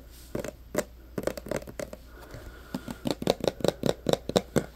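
Short nails tap and scratch a clear plastic hand sanitizer bottle full of green gel, held close, working over both the plastic and its label. Quick, dry clicks with a hollow mid-range knock come in uneven bursts, separated by soft scratching. The taps get denser and louder toward the end.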